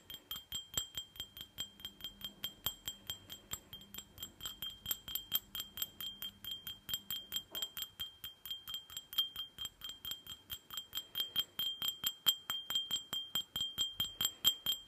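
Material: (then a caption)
Glass. A small, empty glass tumbler with red glitter, held in one hand, is tapped quickly with long fingernails. About 62 sharp, short taps come in a steady, slightly uneven rhythm. Each gives a bright, ringing glass tone centered near 3.2 kHz that dies away almost at once.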